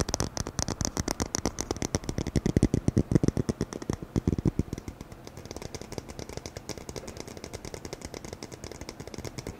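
A roll of dark adhesive tape with a red and white printed edge, held in both hands close to the microphone, is tapped and scratched rapidly with the fingertips. About seventy short, dry, low-toned taps follow one another, loudest in the middle stretch before settling into softer, quicker tapping with a faint scratchy texture.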